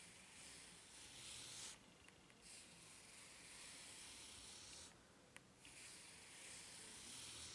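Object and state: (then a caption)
Rubber flip-flop sole. Fingers rub and scratch the serrated edge of a white, ridged rubber flip-flop sole. The result is a steady, bright, hiss-like scraping that drops away briefly twice, with a faint click in the second pause.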